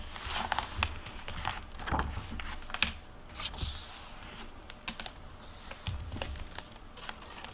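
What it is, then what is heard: Paper book pages being turned. Fingers with long nails flip and turn the paper pages of an open hardcover library book with a plastic dust jacket, resting on a table. The pages give dry rustling and crinkly brushing with sharp, bright ticks and clicks, over soft low thumps as the pages settle.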